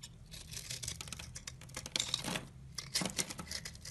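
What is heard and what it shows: A solid rectangular white soap bar held in the hand has its surface cut and scraped with a utility knife blade, sending shavings flying. The sound is a dense run of crisp, bright scraping and shaving strokes, with louder bursts of cutting near the middle and toward the end.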